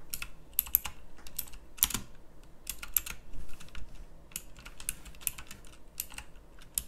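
Long fingernails type rapidly on a pink backlit plastic mechanical keyboard with round typewriter-style keycaps. A steady run of sharp, bright clicks and clacks comes with a soft low rumble beneath, each keystroke stopping almost instantly.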